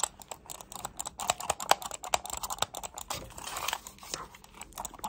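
A black plastic computer mouse held close is clicked and tapped with long nails. A rapid, uneven stream of sharp, dry clicks and taps is heard, each dying away almost instantly, with a bright, thin tone and almost no low end. A soft hiss swells briefly in the middle.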